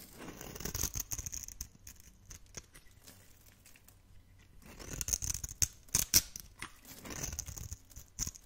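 A metal blade scrapes a hand-held solid blue bar of dry soap, cutting off crunchy shavings and cubes. Bursts of crisp, bright scraping and crackling come in quick, dry clicks, with a quieter stretch in the middle before louder crunches return.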